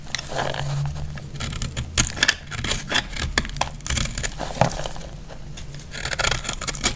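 A metal utility blade cuts and scrapes a dry, solid, flaky recycled purple soap block, giving a run of crisp, crumbly scraping and cracking sounds. Sharp bright snaps sit over a low, steady hum.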